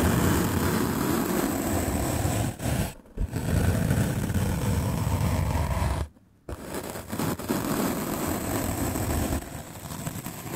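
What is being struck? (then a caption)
Melamine foam sponge. A white rectangular block of solid melamine foam (a magic eraser sponge), held by the fingertips, is brushed fast across its top with a medium paint brush with black bristles. The result is a dense, steady, rough scratching and rustling with a strong low rumble. It dips briefly near 3 seconds, stops almost to silence for about half a second just after 6 seconds, then carries on slightly softer to the end.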